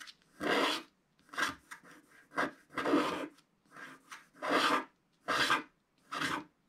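A wooden stick scrapes the red area of the stocking on a flat black-coated scratch-art sheet in repeated strokes. About eleven dry, raspy scratches of uneven length and loudness come at an irregular pace, each a bright, hissy rasp with little low end.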